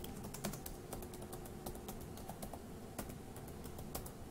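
Fingertips type on the plastic keys of a dark grey laptop keyboard, producing a quick, uneven run of soft, bright clicks. The clicks sit over a steady low rumble, and each keystroke fades quickly.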